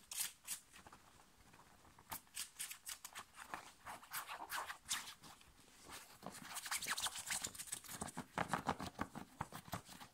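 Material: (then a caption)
Cotton. Fingernails scratch fast across a thin, light blue, short-sleeve cotton-like shirt worn on the body, working over the shoulder and chest. Quick, dry, bright scraping strokes come in irregular bursts, sparse and soft at first, then denser and louder after the midpoint.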